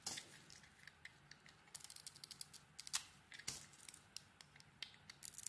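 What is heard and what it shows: A solid pale bar of soap with a blue dotted coating is shaved with a metal blade, giving quiet, bright scraping and crisp little scratching ticks. The short, dry strokes come in a quick, uneven string, with a few sharper scrapes standing out.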